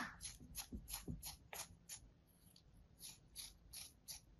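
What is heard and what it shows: A thin metal blade slices and scrapes through a solid slab of kinetic sand resting on a palm, making about 12 crisp, gritty strokes at a loose, uneven pace. Each stroke is a short bright rasp with a soft low thud underneath and almost no ring. A quieter, steadier high hiss runs between the strokes.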